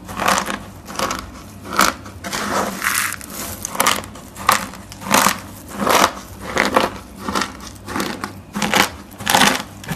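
Two hands with painted nails grab, squeeze and rub a large pile of small, multicolored dried soap sheet flakes on a table, crushing and crumbling the brittle pieces. Dry, bright crunching and crinkling comes in uneven bursts about once a second, each swelling and fading quickly, with a soft crackle in between.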